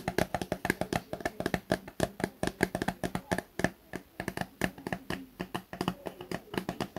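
A small, soft plastic Garnier face-wash tube that appears filled is held in both hands and tapped and scratched with fingertips and short nails. The result is a rapid, steady run of short, dry, hollow taps with a low-mid body and almost no ring, with faint scratchy rustling between them.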